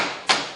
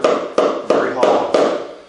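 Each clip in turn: First: A single sharp, high hammer crack on a wooden mudsill, quickly damped: the timber sounds solid here. Second: Five evenly spaced knocks on a wooden sill, each a woody mid-pitched thud that booms hollow instead of staying tight.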